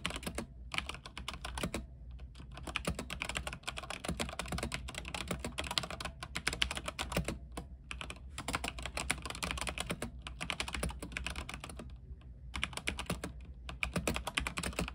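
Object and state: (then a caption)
Mechanical keyboard typing. Both hands type with their fingertips on a backlit mechanical keyboard with white plastic keycaps on an aluminium frame. The result is a rapid, continuous stream of short, bright clacks with a deeper thock under each key. A few brief pauses break the typing, and a steady low hum runs underneath.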